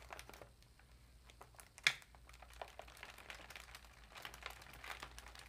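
Long nails tap and scratch an empty, foil-lined metallic plastic cat food bag lying flat with a folded bottom edge. Soft, bright crinkles and scratchy rustles run throughout, with one sharper, louder tap near the two-second mark. Each sound fades quickly.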